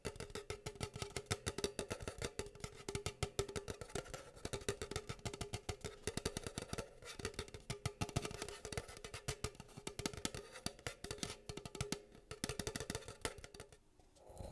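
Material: Plastic.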